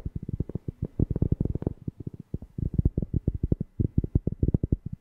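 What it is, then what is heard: Cork tapped. A cork object is tapped rapidly close to a FIFINE K690 microphone for ASMR, giving about thirty deep, bassy thumps. Each tap is short and dry, with almost no ring, and sits mostly in the low range with a soft pitch around 109 Hz. The taps come in quick irregular runs with brief pauses between them.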